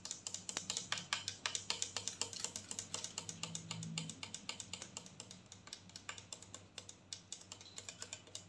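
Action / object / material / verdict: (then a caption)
tap / plastic mouthwash bottle, partly filled / plastic / none. Long nails tap quickly and unevenly on a clear plastic mouthwash bottle, partly full of blue liquid, with the fingers near its black cap at the end. Dozens of bright, crisp clicks each die away almost at once, over a faint low hum.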